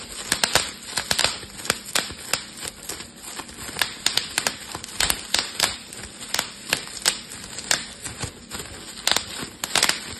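A clear, air-filled plastic bubble wrap sheet is held in both hands while fingers and thumbs squeeze and pop the bubbles. About 33 sharp, bright snaps ring out at an uneven pace, each dying away almost at once, with faint plastic crinkling between them and very little low end.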